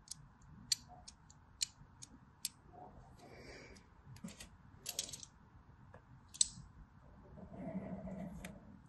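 A blade scores lines across the crosshatched surface of a solid white DURU bar soap. Sharp, bright ticks and clicks mix with soft scraping swishes and a low rustle. A longer, fuller scrape builds near the end.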